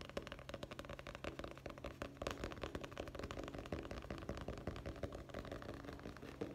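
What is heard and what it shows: Fingertips tap rapidly on the hard cover and edge of a dark hardcover guest book held in the hand, with its cover and back visible. The result is a fast, steady stream of short, dry taps with a dull low thud and almost no ring.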